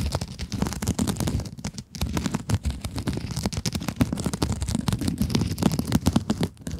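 Long acrylic nails scratch a small pink scrub sponge with a glittery mesh cover in quick, continuous strokes. The result is a dense, crackly rasp with a low, rumbly body, speckled with bright crinkling ticks, that keeps going without pause.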